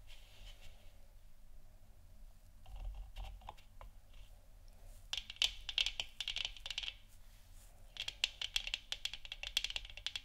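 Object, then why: Plastic moon lamp sphere. Fingers and long nails tap the sides of a hollow plastic moon lamp sphere resting on a wooden stand. Quiet, soft contact at the start gives way to rapid bursts of bright, sharp clicks that stop short, with a faint low hum underneath.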